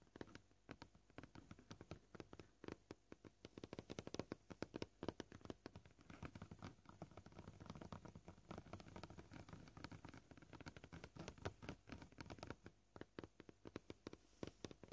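Short painted fingernails tap rapidly on a flat, solid white plastic cutting board marked with knife scratches. The result is a quiet, continuous patter of dry, short clicks with a soft low body, with occasional slightly louder taps standing out.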